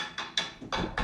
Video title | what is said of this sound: Vous construisez mal en Afrique à cause de ça. | ça sonne creux. Ça veut dire que c'est mal posé.